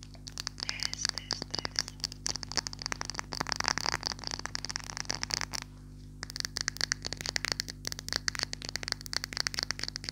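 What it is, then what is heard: Glass perfume bottle. Long nails rapidly tap and scratch a clear glass perfume bottle with a silver cap, partly filled. The result is a dense stream of bright, crisp clicks and scraping ticks with almost no ring, pausing briefly about halfway through before resuming.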